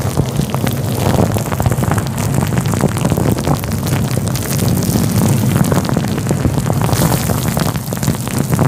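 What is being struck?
Faux fur microphone windscreen.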